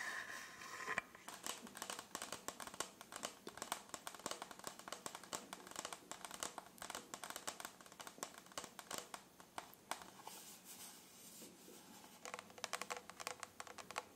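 Fingertips and nails tap and scratch the crystal-covered surface of a hollow, rhinestone-studded plastic tumbler. The result is a quiet, dense stream of quick, dry, bright clicks and scratchy crinkles with almost no low end.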